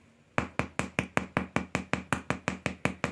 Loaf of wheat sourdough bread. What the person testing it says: такой звук должен быть такой вот глухой